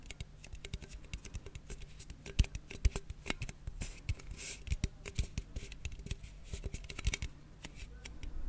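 A closed red and blue aluminium cola can, held in one hand, is tapped rapidly with fingernails. The taps are short, sharp clicks in an irregular rhythm over a steady low hum, with a few brief bright, hissy scratches near the middle.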